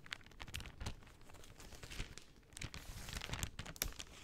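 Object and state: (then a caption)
Cellophane sheet. A large, thin sheet of translucent pink plastic cellophane is held in both hands and crinkled and folded with long dark-painted nails and fingertips. It makes soft, irregular crackling and crinkling bursts with bright, papery highs over a low rustle, each crackle fading almost instantly.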